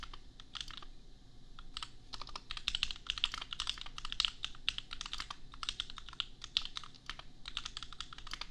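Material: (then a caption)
Plastic. Fingertips of both hands type steadily on a compact $250 custom mechanical keyboard with Gateron Milky Yellow switches and red and pink plastic keycaps. The result is a rapid, continuous stream of short, dry, bright clacks that cut off almost instantly, with a faint low rumble underneath.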